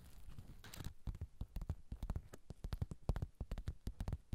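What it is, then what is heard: Sequin fabric pouch. Fingertips and nails rub and scratch back and forth over a small, soft pouch covered in reversible plastic sequins, held in both hands above the recorder. A soft continuous rustle at the start gives way to a rapid, uneven series of short, dry scratchy clicks. The sound is quiet and muffled, weighted heavily toward low thumps with almost no bright edge.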